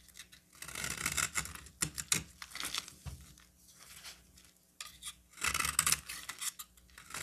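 A solid green bar of soap held in the hand is carved into chunks with a metal utility knife blade. Bursts of bright, crisp scraping and cutting sound come with short sharp cracks and quieter pauses between strokes.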